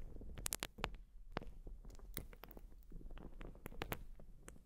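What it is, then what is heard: Urethane foam sponge scratched. Long nails scratch a white urethane foam sponge, producing a quiet, steady run of dry scratchy crackles with sharp, bright clicks scattered throughout. A soft low rumble sits beneath the scratching.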